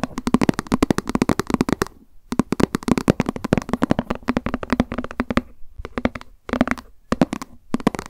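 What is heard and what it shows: Long acrylic nails tap quickly on a small, hollow white plastic lunch box with a cat print, held in the hands. Dense bursts of short, dry clicks carry a hollow tone around 240 Hz and stop abruptly, with brief pauses between the runs.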